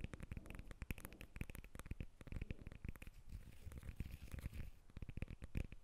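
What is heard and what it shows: Long nails rapidly tap and scratch the rind of a whole yellow lemon held in both hands. The result is a quiet, steady patter of short, dry, dull taps mixed with crackly scratching.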